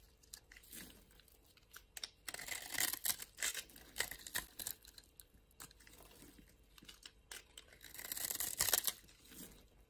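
A utility knife blade scrapes and carves across the surface of a small, solid pink-and-white striped bar of soap held in the palm. The result is quiet, bright, crisp crunching and shaving sounds in irregular bursts, with louder clusters of scraping near the middle and end.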